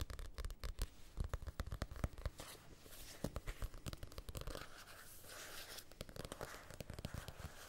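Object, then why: Small paperback book, paper. Fingernails scratch and tap along the spine and page edges of a small, solid paperback copy of *Casino Royale*. Rapid, dull, low-pitched taps dominate the first half, then give way to softer, continuous papery scratching.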